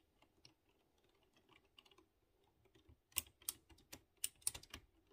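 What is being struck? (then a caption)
Mechanical keyboard with round metal-rimmed keycaps. A hand types with its fingertips on a typewriter-style mechanical keyboard with round, chrome-rimmed keycaps on exposed blue switches. Faint, quick ticks of key presses fill the first three seconds. Then louder, sharp, bright clicks and clacks follow in an uneven rhythm, each one short and dry.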